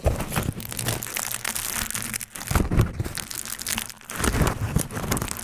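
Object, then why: Thin aluminium foil sheet. A thin aluminium foil sheet is pressed over a microphone grille, lifted off, and crinkled and rubbed with fingertips. The result is dense, continuous crackling with bright, sharp crinkles over a heavy low rumble from the foil pressing on the grille. It eases briefly around the 2.3 and 4 second marks before picking back up.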